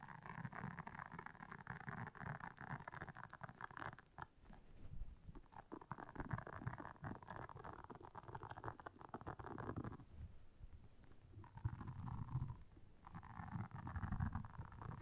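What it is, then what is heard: Silicone scrubber pad. Long nails scratch across the soft bristles of a round, flat, blue solid silicone scrubber pad lying on black fur. The result is a steady, dense, scratchy rustle with a soft low rumble underneath, briefly easing around the ten-second mark before resuming.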